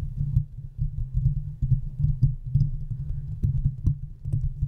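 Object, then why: Metal mesh microphone grille. Long fingernails of both hands scratch and tap the hollow metal mesh head of a large silver condenser microphone. The result is a dense, continuous stream of muffled low scratches and soft thumps, with almost all of the energy sitting deep in the bass and only faint, bright ticks above it.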